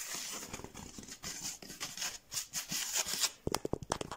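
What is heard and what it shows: Fingertips scratch and tap across a large, flat, blue textured foam mat. A bright, hissy scratching rustle runs for about three and a half seconds, then gives way to a quick series of sharp, dry taps.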